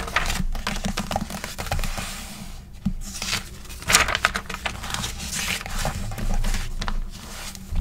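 Long pink acrylic nails and fingertips tap, trace and scratch across the pages of an open, thin, flexible glossy paper magazine lying flat on a wooden table, with pages flipped in between. Dense, close-up bright crinkling, rustling and scratching are heard, with quick nail taps and a few sharper paper swishes.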